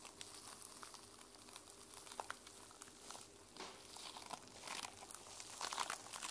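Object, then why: Sequin-covered journal, plastic sequins. Long nails scratch across the sequins of a mermaid sequin-covered journal held in the hands, making a quiet, bright, crinkly rustle. Short sharp clicks and scrapes stand out from the dense scratching, which grows a little louder toward the end.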